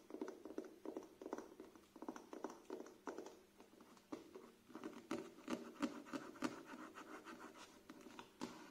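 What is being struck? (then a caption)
Paperback book with glossy paper cover. Fingernails scratch and tap across the front cover, spine and back cover of a thick, solid paperback book with a glossy printed paper cover, held up. Soft, dry taps and scratchy strokes come in an uneven patter, centered low around 300 Hz with little bright content. Each tap dies away almost at once, and the whole clip stays quiet.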